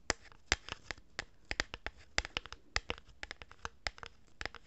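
Long-nailed fingers rub and scratch the surface of a hollow cardboard tube held horizontally in both hands. The result is a quick, irregular series of 22 short, dry, bright scratches and taps with almost no ring, over a faint background hiss.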